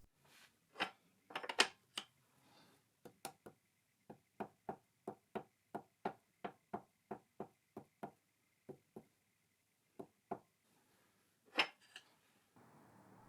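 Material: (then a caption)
Cast iron. A scraped and shimmed cast iron tailstock base sits on the bed of a CJ0618 7x12 mini lathe and is tapped from above in a long series of short, sharp, bright knocks with almost no ring. A dial indicator on its top surface shows essentially no movement, confirming that the base now sits firmly and solidly on the lathe bed.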